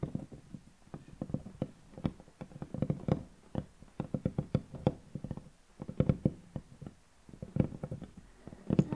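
Long painted natural nails on both hands, resting flat on a large, solid wooden tabletop, scratch, scrape and tap the wood. Many quick, dry, low taps with very short decay come in irregular clusters, mixed with soft scratchy scraping over a quiet background.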